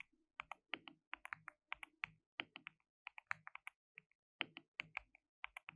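Fingertips rapidly type and tap on a white RGB-backlit compact mechanical keyboard with plastic keycaps and a hollow case. The result is quick bursts of bright, dry, clacky keystrokes that stop almost instantly, separated by short pauses.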